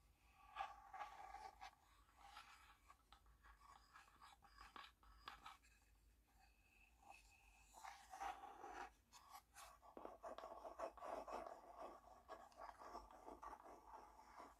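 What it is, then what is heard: Wooden tea box. A small, hollow, printed wooden tea box, closed and held in the hands, is tapped and scratched with long painted nails. Soft, irregular clicking taps mix with dry scratching, giving a quiet, hollow, mid-pitched knock with short, quickly fading rings and a few brighter scrapes.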